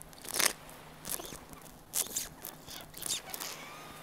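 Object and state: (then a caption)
Small plastic squeeze bottle. A small, hollow pink plastic squeeze bottle with a nozzle cap is held in the hand and tapped and handled with the fingertips. It makes quiet, bright, crinkly clicks and scratchy crunches in short bursts, with soft handling noise between them.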